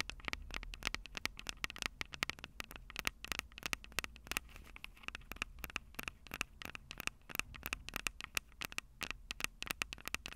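Long purple nails tap and scratch the metal microphone capsules on a Tascam DR-05 recorder, making a rapid, uneven run of sharp, bright clicks with dry scraping in between. Each tap dies away almost instantly over a faint low hum.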